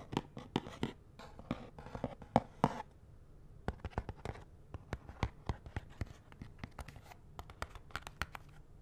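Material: Cardboard.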